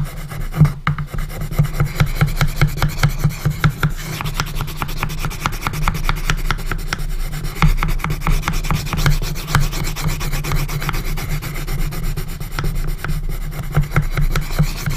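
A pencil scratches continuous hatching across the lower part of the wooden lid of a small hinged, coffin-shaped wooden box. Rapid, even strokes make a steady dry rasping and rubbing, heavy in low tones with faint bright scratchy edges. The level holds fairly constant for the whole clip.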